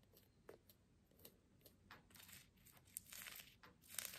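Long nails scratch the rough burlap/jute fabric wrapped around a small plant pot holding an artificial succulent. The result is quiet, bright, dry rasping: short scattered scratches at first, then denser, longer strokes that grow louder toward the end.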